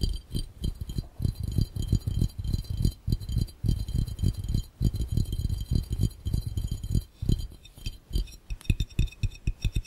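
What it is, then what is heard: Glass fishbowl. Fingertips and nails tap rapidly on an empty, hollow, clear round glass fishbowl, producing clinks. The irregular, fast taps land as short, low, hollow thumps with faint bright clinks above them, and each decays almost instantly.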